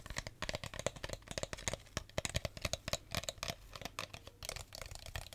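An empty clear plastic drink bottle is squeezed, crinkled and tapped with fingertips and nails, producing a rapid, uneven string of sharp crackles and clicks. Each snap is brief and dry, with a faint tone near 550 Hz, low thumps and bright crinkly highs.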